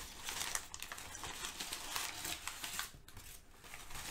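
Thin brown kraft packing paper, already crumpled, is lifted and crinkled by hands. A continuous run of dry, bright crackles and rustles with sharp crisp snaps sits mostly in the high range with little low end. The crinkling briefly eases just after the three-second mark, then picks up again.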